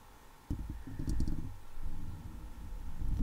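Long leopard-print acrylic nails on one hand, several fingers at once, scratch and tap the hollow steel wire-mesh head of a microphone. After a quiet start, a deep, boomy rustling and scraping begins and continues in uneven bursts with dull low thumps, almost all of it in the low bass with very little bright content.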